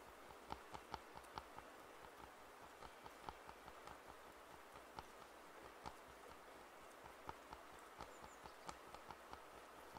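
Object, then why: Plastic over-ear headphone earcups. Fingertips tap the earcups of white and black plastic over-ear headphones with padded black earcups, held hollow in both hands. Quiet, sharp little clicks with a mid-range knock come at an irregular pace, each dying away almost instantly over a steady soft hiss.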